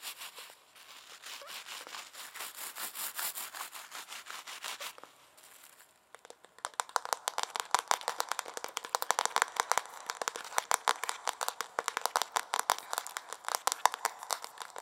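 Long nails scratch and tap the reddish-brown wooden back and handle of a solid, hand-sized wooden hairbrush held close to the microphone. A steady, bright scratching rasp runs for about five seconds, then falls quiet briefly before giving way to a long run of quick, dry, clicky taps. The sound has almost no low end.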